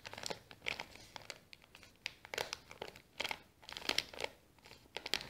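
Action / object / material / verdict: scrape / small kraft paper bag / paper / none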